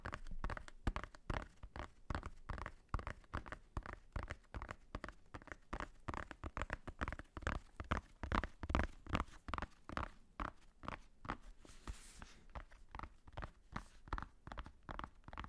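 A medium-sized black hardcover notebook with a solid faux-leather cover and white page edges is held close and tapped and scratched with fingertips and nails. Quick, loosely rhythmic taps give dull, low thumps with short clicky attacks that die away almost at once. A brief, bright scratching hiss comes through near the twelve-second mark.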